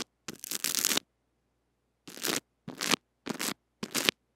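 A small white brush with stiff bristles scratches the head of a small metal-mesh mini microphone wrapped in clear cling film and held in fingers. A long crackly stroke is followed by four shorter ones, each a bright, crinkling scratch separated by silence.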